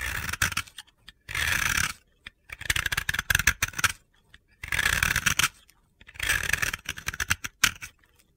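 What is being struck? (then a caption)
Powdery bath bomb. A utility knife blade scrapes powdery layers off a solid, round white bath bomb held in the fingers. Bursts of gritty, bright scratching come in repeated strokes separated by short pauses.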